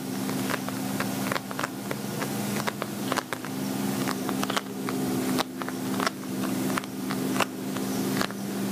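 Fingernails tap and scratch a glossy black patent vinyl zippered cosmetic pouch, medium-sized, hollow and apparently empty. Crisp, dry clicks and short scratchy swipes come in quick, uneven succession over a steady low hum that runs throughout the clip.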